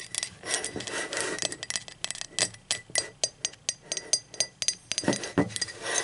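Long acrylic nails tap the handle, wall and base of a hollow, speckled teal ceramic mug lying on its side. The result is a quick run of bright, clicky taps with short, glassy rings, some blurring into a light scrape and others landing as separate clinks.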